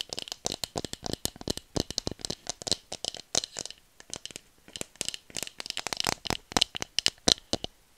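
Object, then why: Bamboo tube. Long nails rapidly tap and scratch a hollow bamboo tube about 40 cm long, held horizontally. Dozens of quick, dry clicks and scrapes fire in irregular bursts, bright and crisp, with almost no low end and no ring after each hit.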